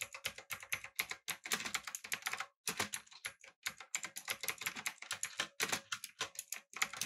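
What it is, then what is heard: Mechanical keyboard with plastic keycaps. Fingertips type on a backlit, typewriter-style mechanical keyboard with round plastic keycaps, producing a fast, steady stream of sharp, bright clacks. Each keystroke decays almost instantly, with very little low end, in an irregular rapid rhythm broken by brief pauses.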